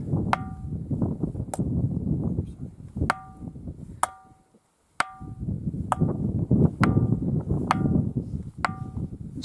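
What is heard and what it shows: The underside of the Ringing Stone, an erratic stone boulder on Tiree, is struck repeatedly and gives a deep, bell-like tolling, like a funeral knell. Each strike is a sharp, bright metallic-sounding ping over a steady low rumble. The rumble drops out briefly before the strikes continue.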